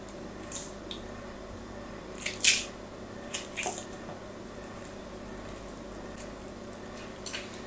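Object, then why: Bar of soap. A blade scratches and chips small flakes off the surface of a solid pink-and-white striped bar of soap held in the hand. Short, bright, crisp scraping bursts rise over a faint steady hiss, with the loudest cluster near the middle of the clip and softer ticks before and after.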